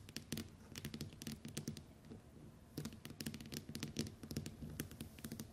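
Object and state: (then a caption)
Glass-screen smartphone. Long white nails on both hands tap and patter on the glass screen of a small, flat smartphone lying on a wooden table. The result is dense bursts of quick, sharp clicks with bright tops and a soft low knock. The burst pauses briefly into a quieter stretch around the middle, then resumes.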